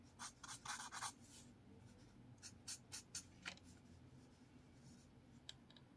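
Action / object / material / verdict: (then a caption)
scrape / marker on paper notepad / paper / none. A blue marker scratches long strokes across a sheet of lined paper in a spiral notepad, making a series of bright, dry, hissing swipes. The strokes come in an irregular cluster at the start, then spaced bursts, over a low, quiet background.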